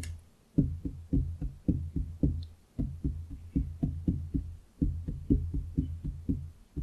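Both hands tap and drum their fingertips on a large, solid, pine-look wooden desktop with visible grain, on either side of a foam-covered microphone. Around two dozen short, dull, low thuds come in irregular clusters at roughly two per second, each dying away almost at once. The sound stays deep and soft, with no bright content.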